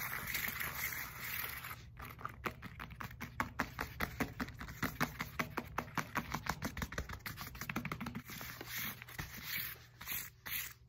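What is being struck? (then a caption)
Foam roller with knobbly surface. Long nails scratch and tap the knobby surface of a black textured foam roller with a hollow core. A soft scratchy hiss runs under a quick series of short, dry taps that crowd together mid-clip, then thins back to scratching before a few final taps.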